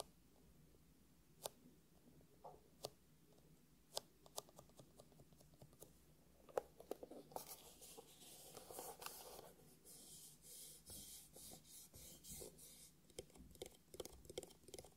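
Fingertips and nails scratch and rub the textured surface of a closed, black, hollow hard-shell eyeglasses case with a faux leather covering. Sparse, sharp nail clicks come first, then give way after about seven seconds to steadier, bright, scratchy rubbing. The sounds are quiet and close, with hardly any ring after each scrape.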